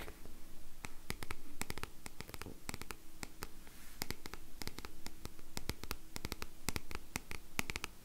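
A black paperback book with a matte card cover is held close while long nails scratch across it. The result is a steady run of many quick, crisp scratching taps over a soft low hum.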